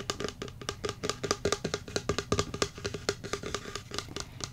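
Fingertips and nails rapidly tap and drum on the printed side of a tall, hollow cylindrical cardboard 'Gig Time' jigsaw puzzle canister, likely holding puzzle pieces, standing on a rug. Each short, dry hit gives a hollow knock with a tone around 400 Hz and a bright clicky edge from the nails. The uneven, chaotic rhythm dies away almost instantly after each strike.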